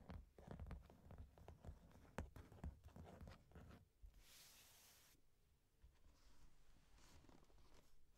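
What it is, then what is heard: Corrugated cardboard box. Long nails tap and scratch across the top of a medium, closed, hollow corrugated cardboard box, making dense, hollow, low thumps and scrapes for about four seconds. A brief bright, hissing rustle follows, then quieter, softer handling sounds as hands hold the box.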